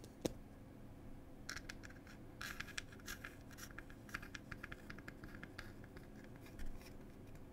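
Long pointed nails scratch and tap the printed wooden lid of a small wooden "Cherry Tea" box. A single sharp tap opens the clip, followed by quick bursts of dry, bright scratching over a steady low hum, with a slightly louder scrape near the end.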